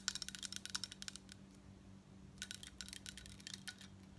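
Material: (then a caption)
Metal. Long coral nails quickly tap and scratch the embossed surface of a large crescent-shaped, gold-tone metal bib statement necklace, a thin solid plate worn over a grey turtleneck. Bright, crisp clicks come in two fast bursts separated by a short quiet pause, each tap dying away almost instantly over a faint low steady hum.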